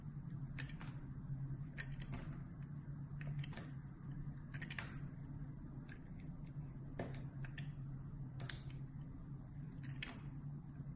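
An oval, palm-sized bar of solid white soap with purple swirls is held in the hand while a metal box-cutter blade cuts and scratches thin curled slices and small cubes from it. Short, bright scraping and crisp cutting strokes recur over a steady low hum.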